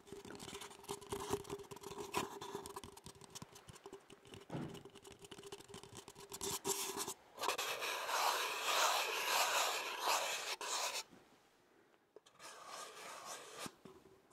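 An empty, hollow disposable paper cup with a donut print is held open end toward the microphone and tapped and scratched on its side and rim with long fingernails and fingertips. Quick, irregular taps and scratches carry a faint hollow tone over the first seven seconds. Then comes a louder, denser stretch of bright scratching, a brief quiet, and softer scratching to the end.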